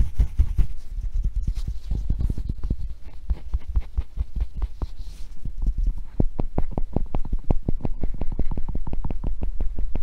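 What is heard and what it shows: A blue and yellow hollow felt-covered rubber tennis ball, held in one hand, is tapped and scratched with fingernails. Rapid, irregular soft tapping mixes with a faint bright scratching at first. It then settles into a steadier run of short, dull, low thumps that die away almost instantly.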